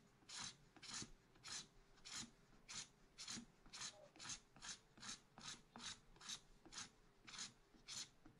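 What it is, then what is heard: Scratch art paper being scraped. A wooden stylus scratches lines near the top edge of a black-coated scratch art card held flat by one hand. About seventeen short, bright, raspy scraping strokes repeat at a steady rhythm, each dying away quickly between strokes.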